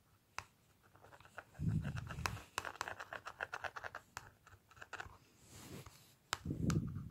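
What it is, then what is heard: Plastic cosmetic palette tapped and scratched. Fingertips and nails tap and scratch across the clear plastic lid of a small, flat Revlon lip powder palette with a black plastic case. Sharp, quick clicks come in an irregular run, broken by two louder bursts of low, rough scratching near the start and the end.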